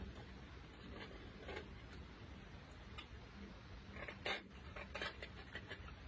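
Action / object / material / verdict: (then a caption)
scrape / block of chalk scraped with a metal blade / chalk / none. A metal blade scraper with a green handle scrapes a large solid chunk of white chalky mineral (chalk or clay) held in latex-gloved hands, with loose chalk fragments and dust below. Quiet, dry, crumbly scraping bursts come in short strokes over a faint low hum, growing busier and slightly louder toward the end.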